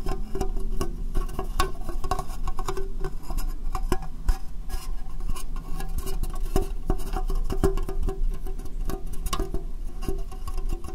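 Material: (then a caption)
Plastic. Fingernails tap and scratch a small, hollow, empty transparent plastic box set upside down over the microphone. The result is a dense, steady patter of quick, dry clicks and scrapes over a heavy, boomy low-end resonance, with the occasional sharper tap standing out.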